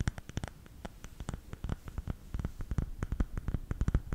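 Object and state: Bamboo salt container.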